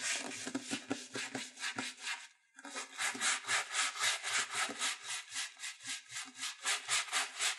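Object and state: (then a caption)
Leather shoe being brushed. A wooden-backed bristle brush is rubbed quickly back and forth along the side and heel of an empty black leather dress shoe held in the hand. The result is a steady, bright, hissing scrub in rapid rhythmic strokes, about four per second. There is a brief pause just before the halfway point, after which the brushing resumes.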